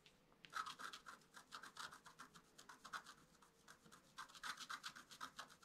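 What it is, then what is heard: Scratch-art card being scratched. A wooden stick scratches repeated strokes across a flat, black-coated scratch-art card. The result is a quiet, irregular series of short, dry scraping bursts with a bright hiss and a midrange rasp near 1.3 kHz. The strokes come roughly four per second, easing briefly around the middle before picking up again.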